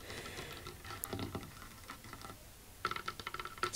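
Fingernails tap and scratch on a favorite wooden table that has been in use from the very beginning, chosen because it makes great sounds. Soft, dry scratching and light patter come first, then a quick burst of crisp, bright, clicky taps with almost no ring.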